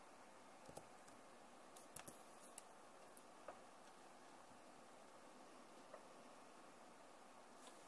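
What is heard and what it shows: Fingertips slowly press the keys of a backlit plastic laptop keyboard, including the arrow keys. Soft, short clicks and taps come at irregular intervals over a quiet, steady hiss, and each one fades almost instantly.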